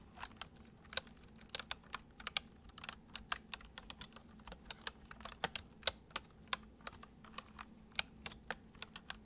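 Fingertips of both hands type fast, repeated taps on the hollow keys of a full-size white plastic computer keyboard resting on a wooden desk. The clicks are dry and bright, each dying away almost instantly, with a steady low hum beneath them.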